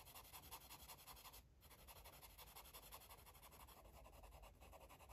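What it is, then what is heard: Marker coloring on paper. A green marker rubs back and forth across a paper coloring book page in quick, steady strokes. The result is a quiet, rhythmic scratchy rasp with bright hiss, briefly easing just before the two-second mark before the strokes continue.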